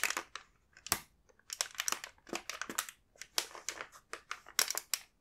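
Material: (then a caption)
Plastic. A full plastic snack bag of kinako mochi is squeezed and rubbed by hand. It gives bursts of bright crinkling and crushing with brief pauses between them.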